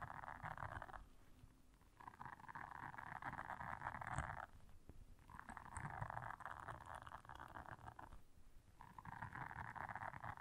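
Long nails scratch across the bristles of a blue silicone scrubber pad, making a soft, dense scratching hiss centered in the midrange. The scratching comes in four drawn-out passes separated by brief quieter gaps, with a low rumbling undertone throughout.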